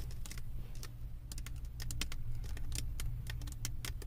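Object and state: Resin diamond painting canvas.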